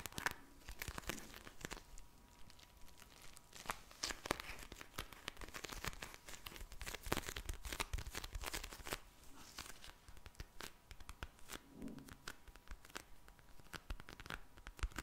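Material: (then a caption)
Plastic. A pink plastic gel bead eye mask is tapped and scratched by long nails and squished. The result is a dense run of quick, crisp crinkling, tearing-like crackles and soft crunches across a broad band. A faint steady tone hums underneath.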